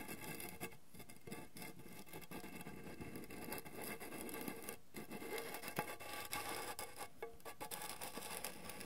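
Fingertips and nails tap quickly on the printed lid of a round gold metal Cavendish & Harvey mixed fruit drops tin, which is hollow and likely has candy inside. The taps form a quiet, continuous patter with light scratchy rubbing, a short metallic ring around 840 Hz, and brief lulls between bursts.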